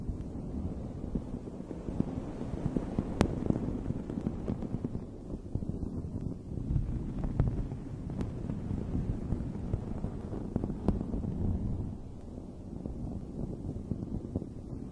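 Long red fingernails scratch and rub across the fuzzy top of a dome-shaped fabric microphone cover. The result is a steady, muffled, low rustling rumble with occasional brief sharp scratchy clicks.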